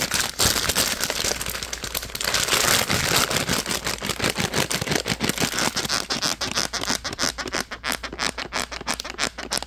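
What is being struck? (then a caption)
Soft plastic packaging pouch. A soft, hand-sized purple printed plastic packaging pouch with a cartoon tiger print is held in both hands while fingertips crumple and crinkle it. The result is a dense, bright crackling made of many short, irregular crinkles with almost no ring, steady at first and then breaking into quicker, choppier bursts.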